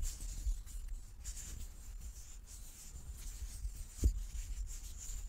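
A large solid light-wood die with dark pips is turned in both palms while fingertips and nails rub and slide over its faces. The result is a quiet, low, muffled rubbing with a faint high hiss, broken by a soft, dull knock near the end.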